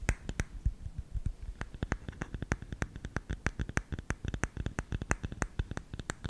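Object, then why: Bamboo lidded canister. A hollow, round lidded bamboo canister engraved "SALT" is held in one hand while fingertips and nails tap and scratch its lid. Around three dozen quick, dry clicks and taps come in an uneven rhythm, each a sharp bright snap over a soft low thump that dies away almost instantly, with faint scratching between them.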